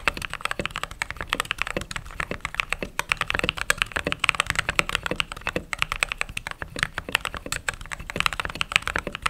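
Fingertips with long nails type continuously on a mechanical keyboard with white/cream plastic keycaps and some RGB glow under the keys. The result is a fast, steady stream of short, crisp, bright clacks with almost no ring and little low end.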